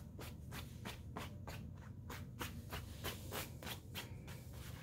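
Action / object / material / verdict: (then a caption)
scrape / nylon coat fabric rubbed by hand / nylon / none. An open hand rubs and scrunches a large, glossy black nylon coat lying flat and wet with soap suds. The thin, flexible fabric gives squishy, crinkly rubbing strokes, roughly three per second with uneven timing. Each stroke is a brief bright swish over a steady low rumble.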